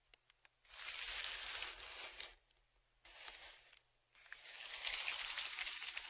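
A dark flat stick scratches and scrapes along a large brown kraft paper Amazon padded mailer that lies flat, held down by one hand. Three separate passes of bright, dry, papery scratching and crinkling rasp across the crinkled paper, with brief quiet gaps between them and almost no low end.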